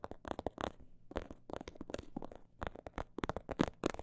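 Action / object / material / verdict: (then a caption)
tap / small faux leather pouch with textured print / faux leather / none. Long nails tap and scratch the textured surface of a small snakeskin-print faux leather pouch. Quick, dry clicks and short scratchy rubs come in uneven clusters, with a few brief pauses between bursts.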